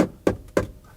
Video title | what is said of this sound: 르노 마스터 L 시승기(Renault Master dCi 145 Panel Van Fwd Test Drive) - 2019.02.19 | 좀 딱딱하고 이렇게 소리가 약간 좀 텅 빈 소리가 나죠